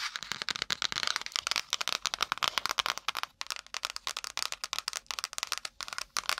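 Long nails and fingertips rapidly tap and scratch the brown kraft cardboard cover and pages of a small spiral-bound notepad held upright beside and in front of the mic. The result is a fast, dense run of dry, bright clicks and scratchy rasps with almost no low end, each hit cutting off instantly without ringing.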